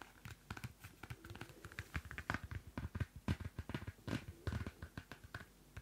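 The cardstock cover of a small pocket Field Notes paper notebook is scratched with long nails while held close to the mic. A quick, uneven run of short, dry scratching taps follows, each one sharp and brief with a deep, close thump underneath and little high-end hiss. The taps die away almost instantly.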